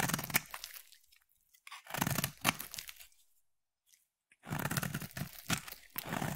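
A metal utility knife blade cuts and scrapes a solid white bar of soap, making dry, crunchy, crackling scrapes with bright high edges over a soft low body. The sound comes in three bursts separated by short near-silent pauses.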